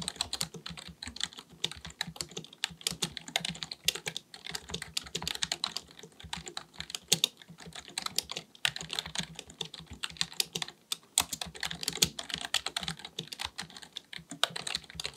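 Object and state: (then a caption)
Plastic computer keyboard being typed on. Both hands type continuously with their fingertips on a black full-size plastic computer keyboard resting on a desk; the keyboard is likely mechanical and has a hollow body. Rapid, bright, clicky key taps stop almost instantly and have little low end. The typing runs in dense bursts with a few brief pauses.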